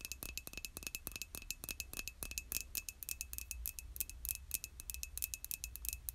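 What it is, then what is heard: Ceramic mug tapped with nails. Long nails tap rapidly on the body of a hollow white glazed ceramic mug held in both hands. The result is a quick stream of dry, bright clicks with a faint steady ring around 2.6 kHz. A low hum sits underneath.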